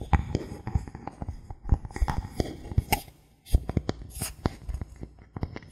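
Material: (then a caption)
Bamboo. Fingertips and nails scratch and tap a thin solid bamboo board held in the hands. It makes a rapid, uneven series of short, dull, low knocks that die away almost instantly, mixed with soft, bright scratching. A brief near-silent pause falls just past the midpoint.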